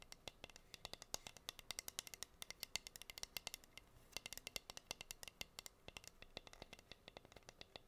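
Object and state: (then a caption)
Wooden cutting board. Long green nails tap and scratch the bare surface of a plain, flat, solid wooden (bamboo-like) heart-shaped cutting board with a hole, about 25 cm across, held in both hands. A rapid, uneven stream of dry, bright clicks sounds with almost no ring, over a faint scratchy hiss between taps.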